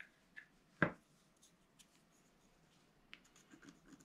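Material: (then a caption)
Coated paper. A wooden stylus scratches the black coating of a flat, solid scratch art card, black coating over coloured foil paper about A4 in size, lying on a table. Short, dry scraping strokes come and go over quiet background hiss, with the loudest and fullest stroke near the start and softer, brighter scratches clustering toward the end.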